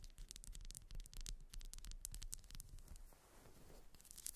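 A grey ribbed solid wax pillar candle is held and scratched with long acrylic nails along its ridges and scalloped top. Quick, uneven scratching strokes produce bright, dry rasps over a steady low rumble. The scratching eases briefly near the end before a few sharper strokes return.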